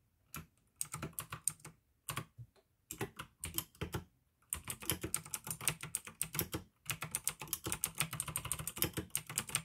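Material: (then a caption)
Plastic. Fingertips type fast on the keycaps of a full-size pink plastic AUKEY mechanical keyboard with RGB backlight, clicky blue switches and a hollow case. Short bursts of sharp, bright clicks with a low hollow thud under each stroke come in broken runs, then settle into steadier continuous typing with one brief pause.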